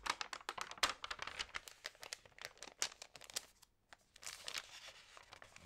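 Hands crinkle and flip the glossy pages of an Allerhande paper magazine, making a dense run of sharp, bright crinkles and crackles with almost no low end. The sound pauses briefly just before the four-second mark, then resumes as softer, steadier rustling.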